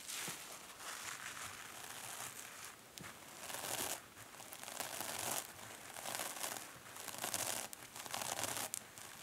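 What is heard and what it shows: Long manicured nails vigorously scratch and squeeze both sides of a hand-sized, two-sided kitchen sponge, solid yet porous, with green polyurethane foam on one side and a glittery silver metallic scouring pad on the other. It makes bright, dense crinkling, scratchy and crunchy sounds in swelling bursts with brief lulls and almost no low end.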